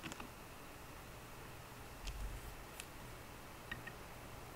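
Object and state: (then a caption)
Laptop keyboard keys being typed on. Fingertips with short green nails tap the low-profile plastic keys of a 13-inch aluminum MacBook Pro keyboard. Six soft, sparse clicks sound at irregular moments, each with a bright, crisp edge. A quiet, steady low hum continues underneath.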